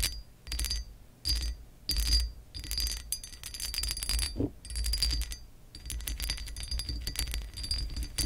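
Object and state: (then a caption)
Textured glass lamp base. Long acrylic nails scratch and tap the ridged surface of a hollow pressed glass lamp base with a raised scale pattern, resting on a white cloth. The sound is a series of bright, rasping scratch bursts and quick glassy clicks carrying a faint high ring, with soft low thumps beneath and brief pauses between passes.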